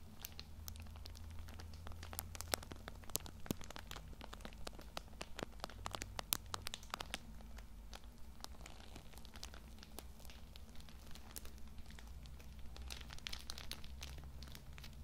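Fingertips and nails squeeze and scratch the crinkly plastic film wrapping a Lambi Cool Mint pocket tissue multipack, held close to the mic. Dense, sharp crinkles and crackles with bright, high snaps ride over a steady low rumble for the whole clip.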